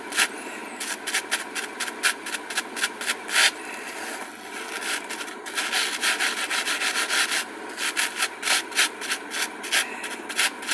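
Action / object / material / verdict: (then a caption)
scrape / glitter-coated craft foam sheet / foam / none. A purple glitter craft foam sheet is rolled and folded in the hands while long nails rub and scratch its glittery surface. Quick bursts of dry, bright, rasping scratches come in two flurries, separated by a softer stretch of crinkly rustling, with almost no low end.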